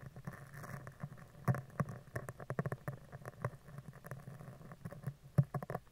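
A spoolie brush is scratched across the top of a round steel mesh microphone head, then down its right side. The result is a quiet, close, bass-heavy patter of rapid short scratchy ticks and rustles, with louder bursts near the start and end.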